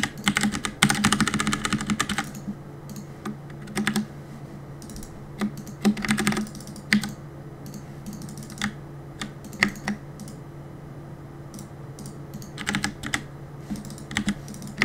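Fingertips tap the keys of a black mechanical keyboard with plastic keycaps. A fast flurry of sharp, clicky keystrokes opens the clip, followed by scattered short bursts and single taps over a steady low hum. Each click is brief and bright, dying away almost instantly.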